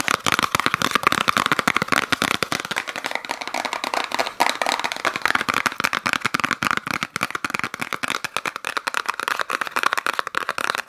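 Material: Cardboard.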